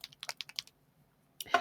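A plastic ink reinker bottle is shaken so the loose metal ball bearing inside rattles, giving a quick series of light, bright clicks, a pause, and then a louder burst of rattling. The ball moves freely, showing it can mix the pigmented or metallic ink.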